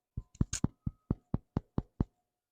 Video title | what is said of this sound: How to make bread | tap on the bottom of the loaf and if it sounds Hollow tell you it's done